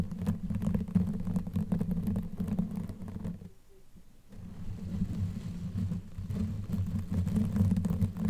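Long nails scratch with both hands across a black knitted yarn sleeve covering a microphone head, producing a dense, muffled low rumble with rapid, uneven crackling scrapes. The scratching pauses briefly to near silence midway, then resumes just as heavily until the end.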